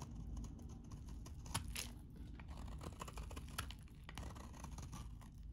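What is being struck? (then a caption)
Soap bar shaved with a blade. A utility knife blade scrapes and shaves a solid, hand-sized, very dry cream-colored soap bar. The result is a continuous dry, crumbly scraping with many small crunchy ticks over a low rumble, and a few brighter, sharper scrapes stand out.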